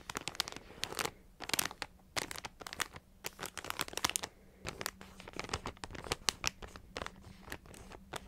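A full plastic multipack bag of Ritz mini crackers is crinkled and tapped with long nails. Quick, bright crackles and crisp taps come in irregular clusters, with short quiet gaps between them. Each sound stops almost at once, with no ring.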